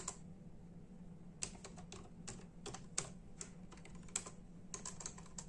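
Bare fingertips of both hands type in a steady tapping on a full-size black and silver plastic membrane computer keyboard with hollow keys. Each keystroke is a short, bright, hollow click that dies away almost instantly, over a constant low hum.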